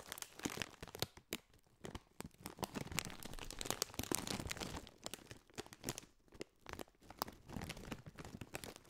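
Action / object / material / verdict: scrape / foil-lined plastic snack bag / metallized plastic / none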